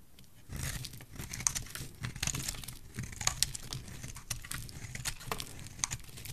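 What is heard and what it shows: A solid, rectangular, pale green bar of dry soap, held in the fingers, is shaved with a metal blade. The result is a dense run of crisp, crinkly scraping and crumbling with many sharp, bright ticks over a low, soft rumble.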